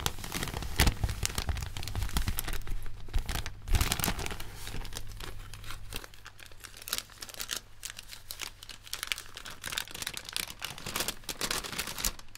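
An empty striped paper popcorn bag made of thin paper is crumpled and folded between white cotton-gloved hands. Dense, irregular crinkling and crackling fills the clip, bright and broadband, with louder rustling bursts in the first four seconds that ease into softer, sparser crinkles.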